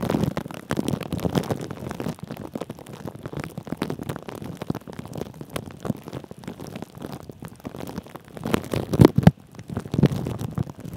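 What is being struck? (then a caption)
Plastic cling film stretched over a microphone. Thin clear plastic cling film stretched over a metal mesh microphone head is rubbed and scratched by the fingertips and short nails of both hands. The result is a dense, irregular stream of soft crinkling and scraping, mostly low and muffled. Louder scratches stand out near the end.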